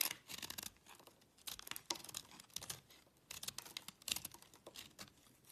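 A solid oval blue-and-white speckled bar of soap, held in the hand, is cut and scraped with a small yellow-handled knife, dropping soap chips onto a black surface. Bursts of dry, bright scraping and shaving come in quick, uneven strokes with short quiet gaps between them, and almost no low end.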